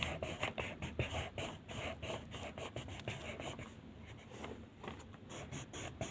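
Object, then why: Wooden colored pencil rubbed on a paper sheet. A blue wooden colored pencil is rubbed back and forth in short strokes over a single sheet of white paper printed with a mandala, lying flat on a table. The result is a quiet, steady scratching with a soft low rustle beneath and faint bright edges on each stroke. The strokes come at an uneven pace throughout.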